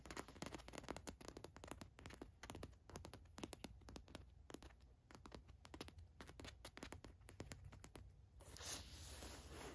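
Long nails scratch and tap across the gold watch print on a black cotton t-shirt, making a quick run of dry, crisp scrapes and soft ticks with a low rumble underneath. Near the end the strokes give way to a steadier, brighter rustling hiss.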